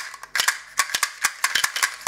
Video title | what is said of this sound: Un EXCELLENT TOUR DE MAGIE - Explication | le D il va bouger, il va cogner, il va cogner, il va cogner